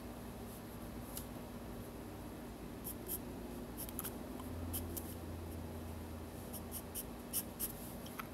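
A pencil scratches lines on the lower part of a drawing on the white paper page of a spiral sketchbook resting on a desk. Quiet, brief, bright scratchy strokes come at an irregular pace over a steady low hum.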